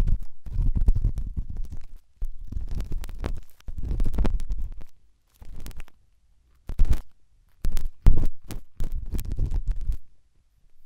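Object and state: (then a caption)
Silicone dummy ear scratched by a pen tip. A pen tip rubs and scratches inside the ear canal of the right white silicone dummy ear on a binaural microphone. The sound is a close, muffled, low rumbling scrape in several bursts separated by short silences, with faint bright crackles over it.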